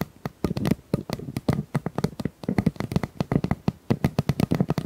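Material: Plastic.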